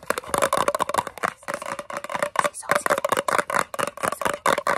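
Long fingernails rapidly tap and scratch the lid and bottom of a large round blue metal Nivea Creme tin (382 g) held close. The result is a fast, irregular run of sharp metallic clicks and scrapes with a brief tinny ring around 1 kHz, plus bright scratchy hiss between the taps.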